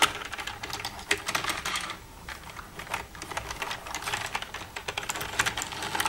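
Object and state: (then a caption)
Plastic computer keyboard. Long red-painted nails tap and type across the keys of a black plastic desktop computer keyboard with a hollow casing, using both hands. Rapid, bright, dry clicks and clacks come in dense bursts, with a brief, quieter stretch of lighter tapping around the middle before the busy typing resumes.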